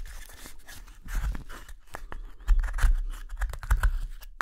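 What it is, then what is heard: Wooden spoon blank being carved. A small gouge scrapes the hollow interior of a wooden spoon blank's bowl, held in the palm, in short strokes. The result is a run of quick, dry, crunchy scraping cuts, each with a soft low thump beneath it.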